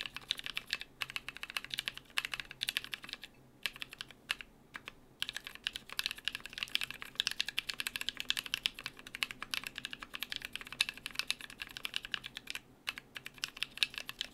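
A small compact Drop BM43A mechanical keyboard with lubed NK Cream switches, cream and brown PBT plastic keycaps and an aluminium plate in a brown case sits on a desk mat while both hands' fingertips type continuously on the keys. The result is a steady, rapid stream of short, bright, crisp clacks with almost no low end and very little ring, broken by a few brief pauses.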